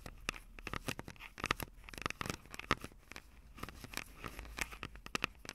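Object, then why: Plastic and metal handheld audio recorder. Long acrylic nails scratch down from above on the metal mic grilles over the capsules of a Tascam DR-05 handheld recorder with a plastic body. The result is a dense run of quick, dry, crackly scratches and clicks with sharp, bright edges and a recurring tone near 1.25 kHz, each ending almost instantly with no ring.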